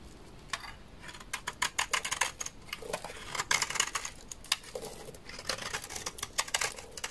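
A large, solid, beige dry laundry soap bar with stamped lettering is scraped with a utility knife blade. The result is a series of short, dry, crisp scraping strokes with bright, high-pitched crackle and almost no ring or low end.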